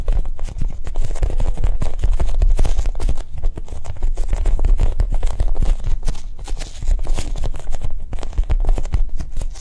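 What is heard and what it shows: A Japanese cheesecake squishy, a soft foam toy, is tapped quickly with soft, non-aggressive taps. The taps form a steady, dense patter of dull, muffled low thuds with almost no ring, at an even level for the whole clip.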